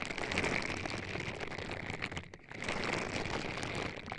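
Purple silicone-bristle scrubber gloves on both hands rub continuously against the silicone ear pieces on both sides of a white binaural microphone box, which has an anime sticker and a vinyl figure on top. The result is a dense, crackly, rain-like scratching with a bright bristly hiss and a steady tone near 2.3 kHz. The sound briefly quiets at about 2.3 seconds before the rubbing picks back up.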